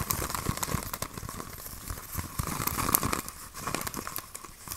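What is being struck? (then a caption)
Thin plastic drink bottle. A clear PET Coca-Cola soda bottle with a red label and red cap, hollow and mostly empty, is held in both hands and squeezed, crinkled and tapped with the fingers. Dense, irregular plastic crackles and short dry taps overlap continuously, with bright high crinkle noise and a faint steady tone near 1 kHz.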